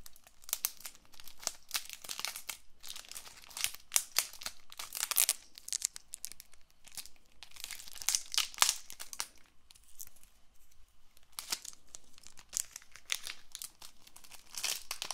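A small Bicycle paperboard playing card box wrapped in plastic film is held and turned while long nails scratch and tap it. Dense, bright crinkling and crackling from the cellophane comes in bursts with quick sharp taps and almost no ring, easing off briefly around the tenth second before picking up again.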